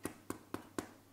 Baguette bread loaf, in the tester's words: a nice hollow sound if I tap them so they're probably ready to come out